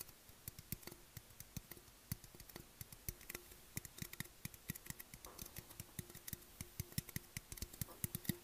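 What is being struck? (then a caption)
Aluminium drink can. Fingertips and nails tap and scratch the side and bottom rim of a tall, hollow black Monster Energy aluminium can held in the hands. The result is a quick run of dry clicks and light metallic taps with bright, crisp edges, underpinned by a faint low hum. Each tap dies away almost instantly.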